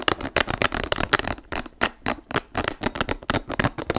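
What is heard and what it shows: Fingertips and nails scratch and squeeze the spikes of a small, hollow, orange and green spiky rubber ball held close up. The result is a rapid run of dry, crackly scratching bursts with a bright edge and quick, short decays.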